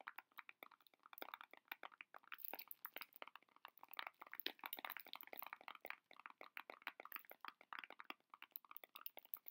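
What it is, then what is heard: Cellophane-wrapped candy box being crinkled. A heart-shaped chocolate box wrapped in cellophane is held close in both hands while the fingers squeeze and scratch the crinkly wrap. The result is a steady stream of quiet, sharp crackles and crinkles, bright and papery with no low end, each snap dying away almost instantly.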